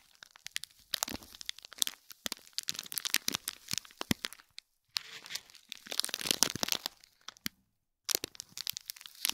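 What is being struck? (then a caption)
Small gift box wrapped in foil and plastic film. Fingernails scratch and crinkle the foil of a small gold foil-wrapped gift box with a gold cord, sealed in plastic film. The result is dense, bright crackling and crinkling with almost no low end, broken by two short silences before the rustling resumes.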